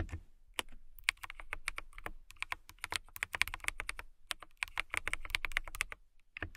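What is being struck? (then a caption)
Plastic mechanical keyboard. Fingertips with long nails type continuously on a clear plastic mechanical keyboard with transparent keycaps. The result is a rapid stream of bright, sharp clicks with a low thump beneath. A few brief pauses break the stream.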